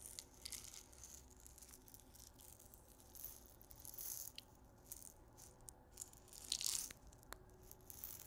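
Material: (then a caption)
Salt crystals. A small clear glass salt grinder with a black cap, filled with pink salt crystals, is held in both hands and shaken and tilted so the salt rattles inside. The quiet, bright, dry rattling and grainy hiss rise and fall in soft swells, loudest near the end, with a sharp little tick just after.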